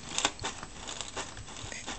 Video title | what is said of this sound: EarCandy FAQ Blowing up a 10'' guitar speaker aftermath vid | you hear how crispy that is